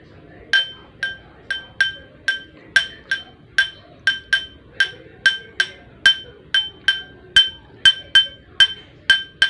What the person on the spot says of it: Glass tapping with spoon